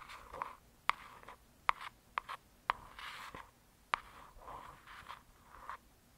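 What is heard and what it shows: A long acrylic nail and fingertips slowly scratch and trace across the solid, glossy cover of a hardcover paper book. Soft, mid-pitched scratching and rubbing swells and fades, broken by several brief, sharp clicks of the nail on the cover that die away almost instantly.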